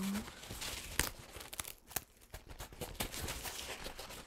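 A crumpled paper towel stained with purple and teal paint is opened and crinkled with fingertips. Quiet, continuous papery rustling is broken by sharper, bright crackles, with the loudest snaps around the one- and two-second marks. Each crackle dies away almost instantly.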